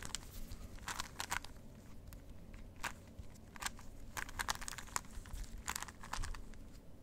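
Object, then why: Plastic puzzle cube. A plastic Rubik's cube is held in the hands while fingertips twist its faces, producing quick, bright plastic clicks and crackly ratcheting bursts. The clicks come in irregular clusters over a steady low hum, each one stopping almost instantly.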